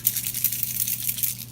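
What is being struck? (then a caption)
Plastic marker pen with mixing ball. A Spectrum Noir crystal-clear sparkle pen, which is nearly running out, is shaken before use. It makes a quick, bright, crinkly rattle of small clicks over a steady low hum.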